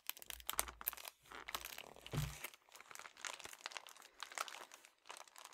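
A flat, soft red metallic foil padded bubble mailer is held in both hands and crinkled and squeezed with fingertips with dark-painted nails. It gives dense, bright crackling and crinkling with quick irregular bursts and a brief low rumble partway through.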